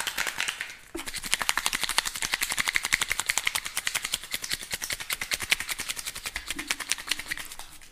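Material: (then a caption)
Plastic. A small, hollow, clear plastic cup or container with a red lid is held in both hands, squeezed close to the microphone, and quickly tapped and scratched with fingernails. A soft scratchy rustle gives way to a fast, steady run of bright, dry clicking taps with almost no ring, fading slightly at the end.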